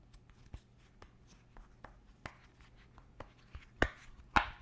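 Fingertips and nails press, pop and tap the hollow bubble domes of a round purple silicone pop-it fidget toy. Soft, irregular taps and light clicks give way to a few louder, sharper pops toward the end, each fading quickly with a bright, snappy edge.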